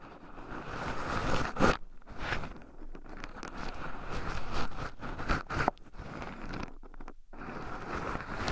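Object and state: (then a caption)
Pine nuts stirred in a wooden bowl. Two wooden chopsticks stir and poke through a small wooden bowl heaped full of raw shelled pine nuts, with two black microphones buried in the pile so the nuts also rub against them. The sound is a continuous close-up scratching, crunching rustle with a midrange tone, swelling into a few louder scraping bursts and dropping into a brief near-silence before the stirring resumes.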